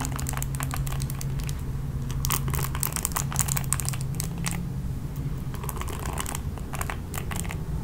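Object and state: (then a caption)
Plastic paddle hairbrush, bristles scratched. Long nails flick and scratch across the ball-tipped nylon bristles of a red plastic paddle hairbrush. The result is a continuous stream of quick, bright crinkling ticks over a steady low hum.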